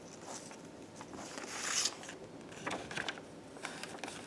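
Fingers in black lace gloves tear small pieces of white paper into smaller scraps. Soft, bright crackling rips run throughout, with a longer, louder tear near the middle followed by a few sharper snaps of paper.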